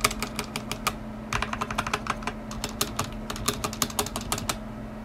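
Fingertips press keys in short typing runs on a stock black tenkeyless mechanical keyboard with plastic ABS keycaps, a metal top plate and linear switches, resting on a white desk. Crisp, bright clacks come in quick bursts with brief pauses, each dying away almost at once over a faint, steady low hum.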